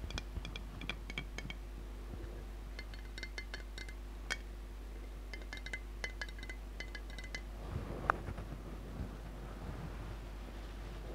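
Long nails tap the glass body of a large glass jar full of red glitter water with a gold lid, held sideways. A quiet run of quick, bright clicking clinks in short bursts sounds over a steady low hum, with one sharper tap near the end.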